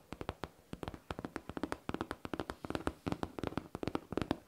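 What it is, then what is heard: Faux leather backpack tapped with nails. Long nails tap and scratch a hollow, smooth-surfaced pink faux leather backpack in a quick, uneven run of about thirty short, dry clicks with almost no ring. The taps have a hollow low-mid body around 290 Hz and thin, bright tops.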